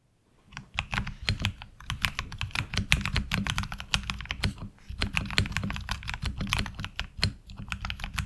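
Fast, continuous typing with the fingertips of both hands on a HyperX Alloy Origins Core tenkeyless mechanical keyboard (metal top plate, ABS SA-profile keycaps, tactile switches) resting on a desk mat. Each keystroke is a short, dry clack with a deep, full low body and a bright click on top. The strokes come in quick uneven bursts over a steady low undertone.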